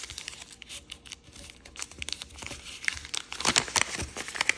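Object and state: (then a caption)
Origami paper being folded. Thin green and red patterned origami paper is folded and pressed flat with fingertips on a wooden table. Soft, bright crinkles and rustles run throughout, with sharper crackles and creases growing louder over the last second and a half.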